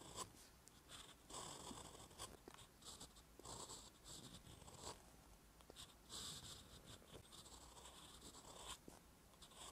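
A metal fountain pen nib is drawn across a flat, solid page of a spiral-bound paper notebook resting on a surface, writing Korean letters in brown ink. The result is a steady, quiet scratching with bright, breathy strokes that rise and fall in short bursts as each letter is formed.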